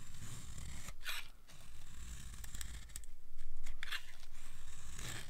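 A steel utility blade scrapes and carves thin, crunchy curls off a solid rectangular bar of dry black soap held in the hand. Steady rhythmic scraping strokes are heard, with bright crackling bursts as the curls break away over a low, dull rumble.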